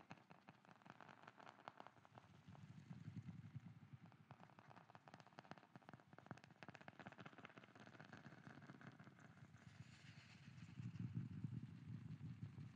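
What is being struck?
Wooden lid.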